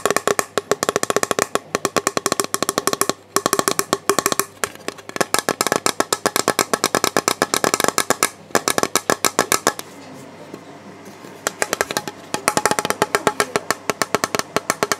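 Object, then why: Clear plastic storage box. Fingertips tap rapidly on the side and base of a hollow, clear plastic storage box with a printed robin. The result is dozens of quick, dry, hollow clicks with a faint mid-pitched tone and almost no ring. The tapping briefly gives way to a softer, rustling scratch before the rapid taps resume.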